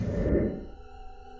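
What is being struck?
Nothing is struck.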